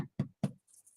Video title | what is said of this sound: VEGAN afternoon tea GARDEN PICNIC cooking demonstration | really nice and hollow just sort of empty really dull noise that's what you want to achieve when it's cooked